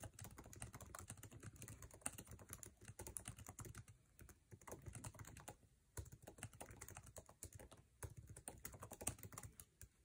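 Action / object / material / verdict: tap / laptop keyboard, plastic keycaps in metal body / plastic / none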